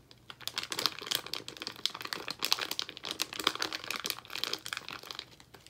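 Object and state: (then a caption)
Plastic candy bag crinkled. A yellow Haribo Fruit Salad plastic bag full of gummies is squeezed and crinkled with the fingers of both hands. This produces a steady run of bright, dense crackling and rustling with many quick, sharp crinkles and almost no low end.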